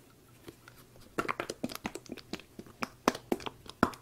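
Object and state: Plastic lotion squeeze tube.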